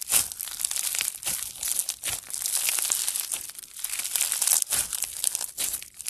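Two hands knead and fingertips squeeze a soft mass of blue foam bead slime (floam). It gives off dense, crunchy crackling pops that are bright and high-pitched with almost no low end.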